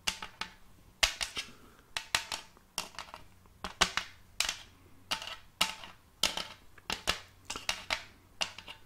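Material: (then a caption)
Wood. Long silver-tipped fake nails tap and click on the surface of a large, round, shallow wooden tray with a raised rim, held upright. The result is a string of sharp, bright clicks in quick irregular clusters, mostly high-pitched with little low end. Each tap dies away almost at once.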